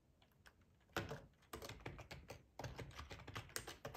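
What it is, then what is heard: Plastic computer keyboard. Fingertips of both hands type on a black plastic, full-size ergonomic split keyboard resting on a cloth tablecloth. After a quiet, faintly tapping start, the clip fills with rapid bursts of crisp, clacky keystrokes, each with a soft low thud underneath and a short, dry decay.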